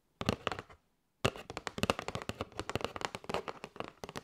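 Long light-grey nails tap quickly on a flat kraft cardboard box with a clear window, held in both hands and full of paper straws. A short burst of dry, crisp clicks stops for a moment of silence, then a steady run of rapid, slightly hollow taps follows, each ending almost instantly.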